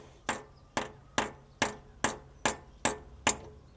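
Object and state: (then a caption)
Bearing not yet seated. Eight light, evenly spaced metallic taps as a drift strikes only the outer edge of a metal bearing, driving it into the crankshaft bore of a Ferrari during clutch work. Each tap is a sharp, bright clink with a very short ring. The taps do not yet sound solid because the bearing is still moving and not yet seated.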